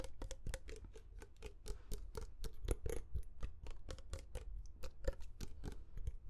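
A medium glass perfume bottle with a metal cap and amber liquid inside is held close and tapped with short fingernails. It makes a quick, irregular series of short, dry clicks, each ending almost at once, with a soft low thud under them and a bright edge on top.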